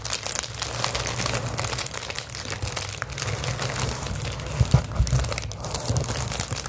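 A roll of clear plastic bubble wrap is squeezed, crinkled and scratched with long acrylic nails. A steady, dense crackling and crinkling runs throughout over a low rumbling undertone, with bright scratchy texture on top. A few louder crunching snaps stand out near the end.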